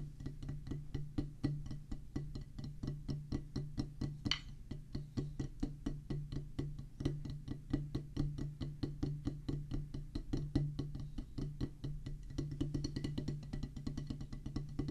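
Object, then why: Rubber practice pad on a wooden base, played with wooden sticks. A solid oval drum practice pad with a black rubber top on a pressboard/wood base, resting on a table, is drummed with two wooden drumsticks. Quick, dry taps come in a fast, uneven stream over a steady low hum. Each hit dies out almost immediately with a soft, muted thud.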